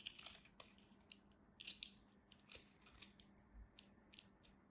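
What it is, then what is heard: Soap bar being sliced. A metal craft knife slices curls and flakes off the face of a solid cream soap bar held in hand. It makes quiet, crisp, bright crunching scrapes in quick irregular bursts that stop dead with no ring, over a faint steady low hum.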